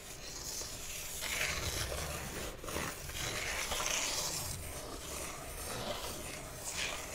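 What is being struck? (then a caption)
Large flat cardboard box edge. Fingertips tap and scratch along the narrow edge of a large, flat, printed cardboard slime kit box held on its side. The result is a continuous, irregular, bright scratchy rubbing with quick strokes and no distinct separate hits, over a faint low rumble.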